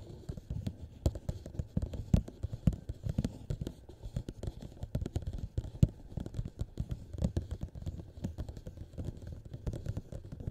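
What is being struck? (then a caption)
Small plastic cup. A small, hollow, empty clear plastic cup turned upside down over the microphone head is tapped rapidly on its sides with the fingertips of both hands. The taps come as a dense, uneven stream of soft, muffled low thumps with almost no brightness. Each tap dies away almost instantly.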